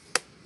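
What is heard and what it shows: A hand pats a fresh coconut once, giving a short, dry tap with a pitch near 500 Hz that dies away almost at once. The coconut is judged to be slightly mature by how it sounds.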